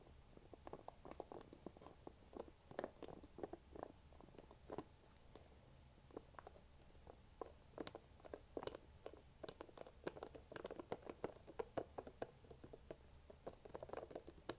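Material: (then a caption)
Plastic. Long nails tap and scratch the foil lid and plastic sides of a small Chobani yogurt cup that is sealed and likely full. Quiet, dry clicks and scratchy crinkles come in a steady, irregular stream, with a hollow mid-range tone and bright ticking edges. Each tap dies away almost instantly.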